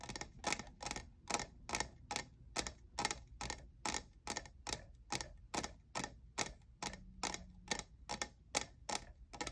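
Fingernails tap the faceted side of a tall, hollow, lavender plastic jeweled tumbler that appears empty. The clip holds 28 quick, dry, bright clicks with almost no ring, coming at an uneven pace over a faint low hum and centered around 2.2 kHz.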